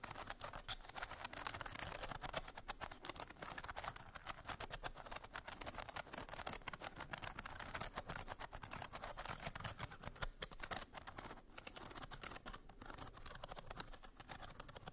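Long nails tap and scratch across the ridged lid of a small hollow box made of painted bamboo slats with a bead clasp. The result is a steady, quiet stream of rapid, crisp clicks and dry scraping with a light hollow knock underneath.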